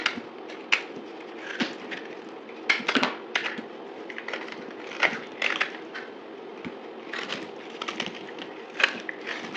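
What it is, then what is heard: Dry soap bar cut with a blade. A utility knife blade cuts and scrapes a dried, solid white soap bar with a gold-painted surface, held in the palm, sped up to double speed. Crisp, bright crackling scrapes and sharp cracks come in irregular bursts over a low, steady hiss. Each snap dies away almost instantly.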